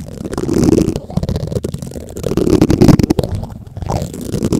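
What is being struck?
Metal mesh microphone grille scraped and tapped with plastic spoons.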